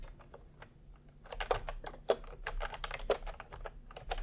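Fingertips of both hands type steadily on a cream and peach plastic retro keyboard with round keycaps resting on cloth. Short, soft plastic clacks come in an uneven patter, with a few louder, brighter key strikes standing out over a faint low rumble.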